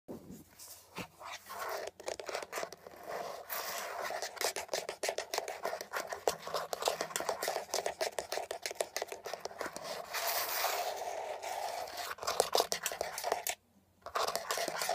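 Long red-painted nails rapidly tap and scratch the textured surface of a beige hollow plastic Glade automatic air freshener spray housing, about 20 cm tall with leaf-shaped cutouts, held upright. Dense, irregular clicks and dry scratchy rasps with a hollow, mid-pitched plastic tone continue almost nonstop. A brief silence falls near the end before the tapping resumes.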